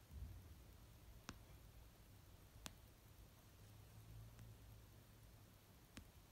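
Long nails slowly tap the cover of an orange paperback novel resting on a blanket. Three short, sharp clicks ring out well apart, each dying away almost at once. A faint, low rumbling hiss sits underneath throughout.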